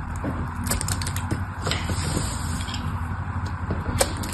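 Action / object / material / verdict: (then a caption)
scrape / bar of soap / soap / none. A craft knife scrapes and carves pieces off the edge of a solid mauve bar of purple soap held in the hand. A steady, low, dull scraping runs throughout, broken by brief, sharp ticks and crisp bright flicks as bits shave away.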